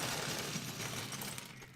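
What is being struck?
Plastic toy building bricks.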